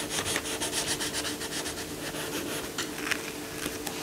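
A yellow coloured pencil rubs across a colouring book page lying flat, shading the lion's face and chest in short strokes. The result is a steady, dry, bright scratching with a quick back-and-forth rhythm and a faint low hum underneath.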